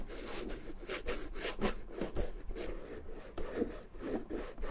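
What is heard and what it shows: Fingertips rub cream into the pebbled leather flap of a small red Gucci bamboo-handle mini handbag, which has a suede body and is closed and hollow. The result is a steady run of soft, irregular rubbing and swishing strokes with bright, airy friction over a faint low rumble.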